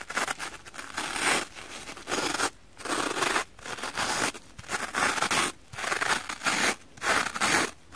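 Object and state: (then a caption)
Soapy scouring sponge scraped with a knife. A knife blade is scraped repeatedly across the green abrasive scouring side of a kitchen sponge with a pink foam base, held in one hand, wet and lathered with soap. Rough, bright scratching strokes come in bursts with brief quiet gaps between them, with a faint wet rasp and almost no low end.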